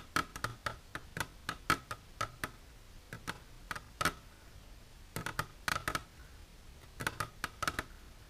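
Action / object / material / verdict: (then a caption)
tap / plastic container tapped with fingernails / plastic / none. Long natural nails with silver polish tap continuously on a plastic container for ASMR. Quick, crisp clicks come in irregular bursts with short pauses, each tap sharp and dry with a faint tonal ring near 1.3 kHz and bright edges. The taps fade almost instantly over a quiet background.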